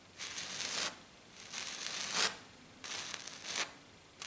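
Long black nails scratch across a flat silver glitter-coated sheet. The result is bright, hissing scratching in three long bursts separated by short quiet gaps, with a fourth starting at the end.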